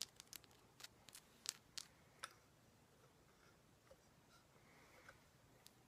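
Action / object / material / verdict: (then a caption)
tap / rock salt lamp / rock salt / none. A large, solid, pinkish Himalayan rock salt lamp is held in the hands and tapped and scratched with long black nails. Quiet, sharp, bright clicks come at an irregular pace in the first half, then give way to faint, soft scratching over low background hiss.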